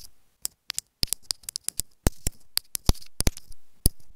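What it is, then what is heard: Plastic earphone inline microphone tapped with nails. Long fingernails tap a small white plastic inline remote microphone on an earphone cable lying on a bed. About nineteen quick, irregular taps sound as sharp, dry clicks with bright high-end ticks over a dull low thump. Each tap dies away almost instantly, with brief rustle between them.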